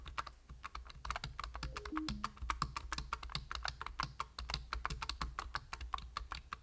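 Fingertips with short nails tap rapidly on the plastic keys of a full-size black plastic computer keyboard with a hollow body, making a dense stream of short, clicky keystrokes over a steady low hum. A brief descending tone sounds in the background early on.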